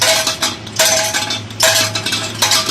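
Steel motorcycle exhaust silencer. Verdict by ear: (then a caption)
Loose. A steel exhaust silencer from a CD 70 cc motorcycle is shaken by hand, producing four bursts of bright metallic rattling and clinking with a steady ring around 650 Hz. The rattle comes from the broken internal baffle knocking loose inside, a faulty silencer that needs repair.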